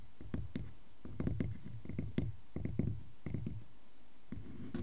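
Fingers scratch across a solid wooden log slice, a tree-trunk cross-section with visible rings and a bark edge, and an index fingertip taps its center. The result is a quiet series of dull, low, muffled thuds and soft scratches with very short decay and almost no bright content.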